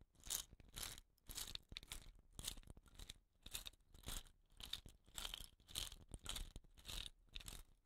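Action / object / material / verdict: scrape / bamboo rain stick with rattan-bound ends / bamboo / none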